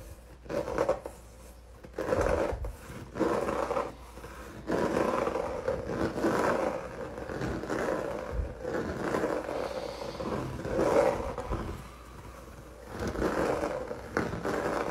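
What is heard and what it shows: Fingertips and nails rub and scratch across a flat canvas coated in dried, wrinkled red acrylic paint. The result is a series of raspy scraping strokes that swell and fade, centered in the mids with little deep or high content.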